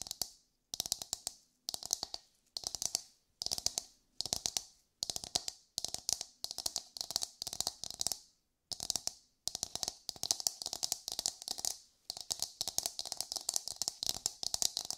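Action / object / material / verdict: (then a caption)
tap / coconut shell half / coconut shell / none. Long nails tap and scratch the hard dome of a hollow, dark brown empty coconut shell half held in both hands. Quick bursts of crisp, bright clicking and scraping come in rapid clusters separated by brief pauses. Each hit is dry with almost no ring and very little low end.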